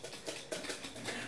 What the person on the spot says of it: right, can you guys hear that sloshing? That means the fat has separated from the buttermilk, and we have got beautiful butter.